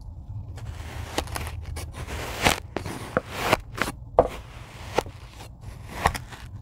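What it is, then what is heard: Kinetic sand being cut. A rocker blade cuts a grid of squares into a tray of kinetic sand, producing soft, crisp slicing and crumbling sounds. Short scraping cuts, some louder, stand out over a quiet low rumble and fade quickly.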